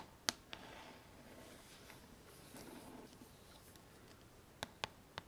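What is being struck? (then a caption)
Plastic paddle hairbrush back. A pink plastic paddle hairbrush lies face down while long nails tap and scratch its hollow plastic back. Five sharp, bright clicking taps, spread across the clip, stand out over soft, quiet scratching. Each tap dies away almost at once.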